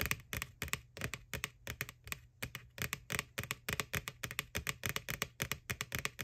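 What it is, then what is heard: Hollow plastic bucket tapped with nails. Long nails tap rapidly on the printed face of a white, hollow plastic McDonald's Boo ghost Halloween bucket lying on its side, about 36 taps in quick, uneven bursts. Each tap is a sharp, bright, hollow click that dies away almost instantly, with a faint low hum underneath.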